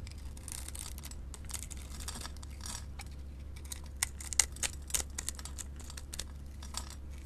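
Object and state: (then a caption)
Bar soap being scraped. A metal blade scores and scrapes small flakes off a solid white bar of soap with silver sequins, held in the hand. Soft, dry scratching runs over a steady low hum, with a cluster of sharper, bright scraping clicks in the middle before it settles back into quiet shaving.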